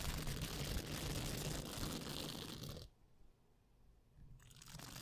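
A small pink soft silicone face-cleansing pad with nubs is held just above a microphone and bent and scratched with long painted nails and fingertips, which may also pick up some handling noise. Dense, crunchy, crinkling scratches with a low rumbling body fill the first three seconds. The sound then drops to near silence before softer scratching returns at the end.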